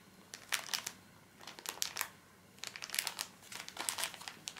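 A small plastic-film pocket pack of paper tissues is squeezed and rubbed with the fingertips, making the film crinkle. Bright, crackly crinkles come in three bursts separated by short quiet gaps. The sound has almost no low end.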